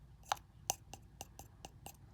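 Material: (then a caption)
Metal. The frame of an original Yamaha JA4201 compression driver diaphragm is flicked with a finger several times, giving short, bright clicks with a brief ring around 800 Hz and a brassy edge in the highs. It sounds like a properly damped diaphragm frame, with a higher self-resonant frequency than the replacement.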